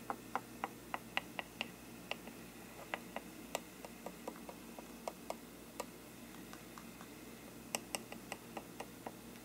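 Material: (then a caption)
Paper. A thin brush handle taps and knocks the upper rim and side of a hollow faux-parchment paper lampshade. About 24 light, short, papery ticks come at an uneven pace, some brighter and sharper than others, over a quiet steady low hum. Each tap dies away almost instantly.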